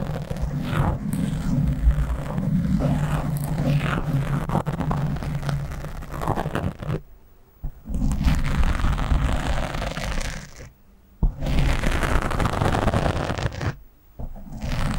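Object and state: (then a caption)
Foam microphone windscreen being scratched. Fingertips from both hands scratch fast at a black foam windscreen on a microphone. The result is a dense, crackling scrape that booms heavily in the low end. It runs in long continuous stretches broken by short near-silent pauses around 7, 11 and 14 seconds.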